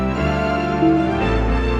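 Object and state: Nothing is struck.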